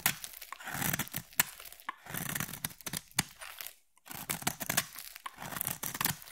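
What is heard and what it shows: A metal utility blade scrapes and carves a solid, palm-sized blue bar of soap, cutting off soap shavings. Crisp, bright scraping and crackling strokes come in quick bursts, with a brief pause near the middle.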